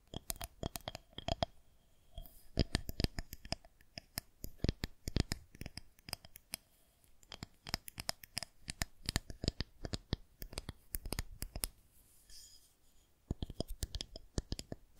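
Long nails tap and scratch along a smooth white plastic rolling pin, producing dense bursts of sharp, dry clicks and scrapes with almost no ring. The taps cluster in uneven rapid runs separated by brief quiet gaps, with a bright crisp edge over a soft low thump.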